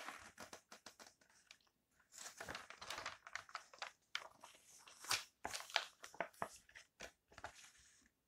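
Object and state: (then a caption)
Glossy magazine pages being turned. Fingertips turn the pages of an open glossy paper lifestyle magazine one after another, rustling and crinkling the coated paper. Each turn is a short, bright, crisp swish with almost no low end. The turns come in an uneven run of quick bursts with brief quiet gaps between them.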